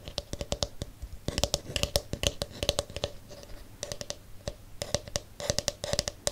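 Fingers scratch across the pink plastic bristles of a palm-sized plastic detangling hairbrush, then fingernails tap its hollow blue plastic back. The result is a quick, uneven run of sharp, bright clicks and ticks with a faint hollow ring around 570 Hz, each dying away almost at once.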